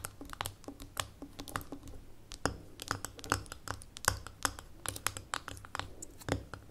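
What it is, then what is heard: Glass jar with metal lid, tapped with fingernails. Long nails tap the gold metal lid and the glass sides of a small labeled amber glass jar standing on a table. A quick, irregular stream of short, sharp clicks is heard, each dying away almost instantly, with bright upper edges and a faint low hum underneath. The overall level stays soft and close.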